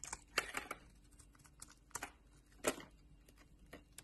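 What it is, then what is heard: Bar soap being carved. A metal utility knife blade shaves and carves a solid oval purple soap bar held in a palm with long nails, and curled soap shavings break off. A series of short, dry, crisp scraping and crackling cuts with bright, airy edges is separated by brief quiet gaps.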